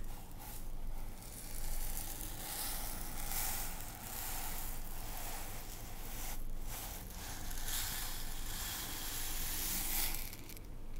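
A clear plastic lidded storage container, about a third full of dry couscous, is held in both hands and tilted and shaken back and forth. The grains slide and rattle inside, making a continuous sandy, hissing rush that swells and fades in slow waves.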